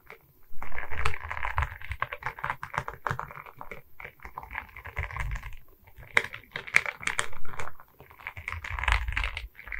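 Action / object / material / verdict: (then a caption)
scrape / resin rhinestone beads on a wooden board / resin beads / none. A diamond painting on a wooden canvas, a flat rectangular board covered in small resin rhinestone beads on a wooden frame, is held in both hands while long red nails tap and scratch the bead surface. Dense bursts of rapid, clicky tapping and scratchy rattling come in waves with brief pauses between. A low thumpy undertone sits beneath the bright clicks.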